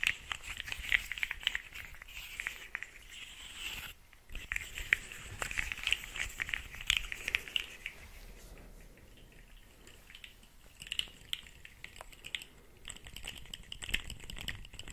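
Fingers pull, stretch and bend a small, hollow rainbow corrugated plastic pop tube, making its rib segments pop. The result is a dense run of sharp, bright clicks and crackles with a brief pause near the four-second mark. It settles into a quieter, sparser stretch before the popping picks up again toward the end.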